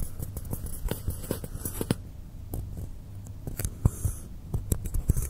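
Fingers and nails scratch and rub along the surface and edges of a long, solid blue polystyrene foam block lying on a table. Short, dry scrapes and soft squeaks come in a quick, uneven series, some reaching bright and crisp. A steady low hum sits underneath throughout.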